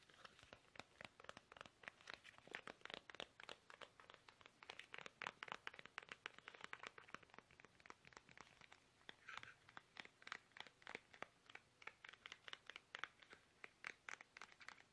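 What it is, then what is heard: Plastic toothpaste tube. Fingertips tap fast on a small, soft, hollow, squeezable plastic toothpaste tube held upright in both hands. The result is a rapid, continuous stream of dry, crinkly clicks with bright upper tones and almost no ring.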